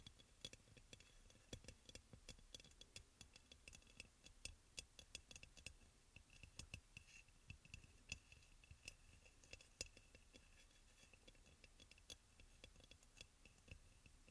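Fingernails tap and click on the glazed sides of a hollow, white crackle-glazed ceramic aroma oil burner. The result is a quiet stream of many short, bright clicks with almost no ring, carrying a steady high tone around 2.7 kHz over a soft low rumble.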